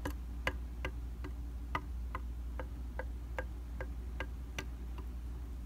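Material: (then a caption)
Glass. A round glass mirror in a white plastic frame, with a solid flat surface, is tapped repeatedly by a tool with rubber or silicone tips held in the fingers. The result is a steady run of short, evenly spaced, bright ticking taps that die away almost instantly, over a constant low hum.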